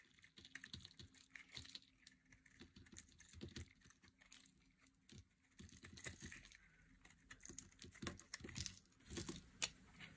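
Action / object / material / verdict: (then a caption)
scrape / bar of soap cut with a metal blade / soap / none. A metal utility blade shaves curls off a solid, hand-sized red bar of dry soap held by long nails. It makes a dense run of crisp, dry scraping and crackling clicks, bright and quiet, coming in uneven bursts with brief pauses between strokes.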